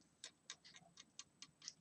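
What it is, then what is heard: Metal embellishment. A gold, glitter-covered metal silhouette embellishment from a craft swap package is tapped eight times. Each tap gives a short, bright, high-pitched tick that dies away almost at once, much like a clock ticking.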